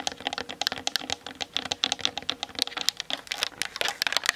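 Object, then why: Plastic camera body. Long nails tap fast on the sides and top of a plastic-bodied Canon DSLR camera. The result is a rapid, dense patter of short, bright, clicky taps with no low end and almost no ring after each hit.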